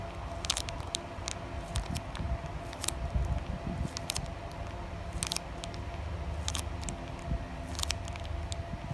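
Long nails tap and scratch close-up on a flat, sealed plastic foil Digimon Carddass EX-01 card pack. The result is a steady run of sharp, bright clicks and crinkly scratches over a low rumbling bed, with no pauses.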